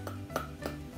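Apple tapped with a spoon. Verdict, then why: Solid. A spoon taps three times on a whole apple, tested for comparison with a mystery fruit. Each tap is a short, dull knock with a faint tone near 1.3 kHz that dies away within about a tenth of a second over a low steady hum. The apple sounds full and solid.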